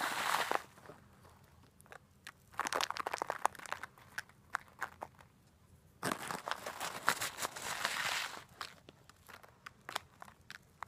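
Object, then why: Plastic bag of coarse salt crystals. A clear plastic bag of coarse rock bath salt crystals, held upright, is shaken and squeezed with fingers and long black nails so the crystals crunch inside. Three bright, gritty bursts of crunching and crinkling come at the start, around three seconds and around seven seconds, with sharp clicks scattered between them.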